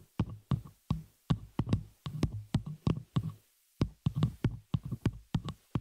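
Long fingernails on both hands tap and scratch the small, hollow metal spider-cage shock mount holding a microphone, and the mic's top. The result is a quick, irregular run of dull, low, thumping taps with short scratchy tails, broken by a brief pause near the middle.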